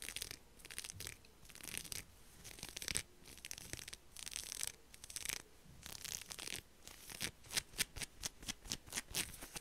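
Long acrylic nails scratch over the dotted fingers and palm of a black knit heat glove with pink silicone dots, laid flat and held. The result is dry, bright, hissy rasping in irregular bursts that turn into quicker, evenly spaced strokes toward the end.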